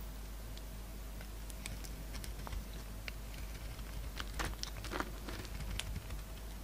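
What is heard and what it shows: A solid peach-colored bar of soap with a red coating, held in the palm, is shaved and scraped with a utility-knife blade. Soft, crisp scraping and ticking strokes come in quick, irregular bursts, growing denser and brighter toward the middle. A steady low hum runs underneath.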